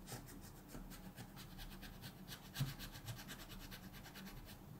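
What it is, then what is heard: Pencil scratching on coloring book paper. A wooden colored pencil tip continuously rubs and scratches across a thin paper mandala page in a coloring book lying flat on a table, while the other hand rests on the book. The result is a quiet, steady scratchy rubbing made of rhythmic, bright strokes over a low hum, with one slightly louder scrape near the middle.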